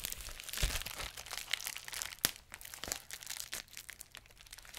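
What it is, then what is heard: Plastic bubble wrap being popped. A large clear plastic bubble wrap sheet is held close and pinched with fingertips and nails, popping its bubbles. Continuous bright crinkling is broken by sharp, dry pops with almost no ring, the loudest near the middle of the clip.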